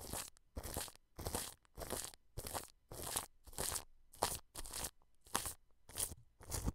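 A wide bristle paintbrush brushes and rubs clear plastic cling film stretched over a white dome microphone and its metal mesh grille. It makes a series of close, bright crinkling and rustling strokes with short pauses between them, each stroke carrying a soft low thump beneath the crackle.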